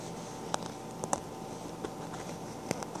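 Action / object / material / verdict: tap / faux leather handbag / faux leather / none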